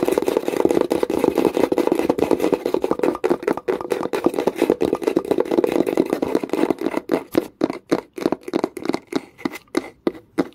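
Long pointed nails tap quickly and aggressively on the flat, light wooden lid of a hollow wooden box. A dense, rapid stream of short, dry, hollow clicks with a mid-range knock runs for about seven seconds. It then thins into distinct, separated taps toward the end.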